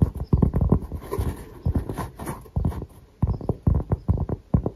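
Fingertips and short nails tap and scratch across the grainy surface of a round, thin, solid cork coaster held up close in both hands. The taps come in quick clusters of dull, low, woody knocks that die away almost instantly. Softer scratching fills the gaps between the bursts.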